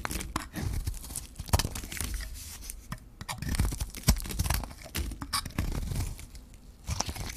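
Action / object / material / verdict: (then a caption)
scrape / bar of soap shaved with a metal blade / soap / none. A metal blade shaves the surface off a hand-held, solid white bar of dry soap with a gold rim. The result is a run of dry, crunchy tearing and scraping strokes with sharp, bright crackles over a low, dull body.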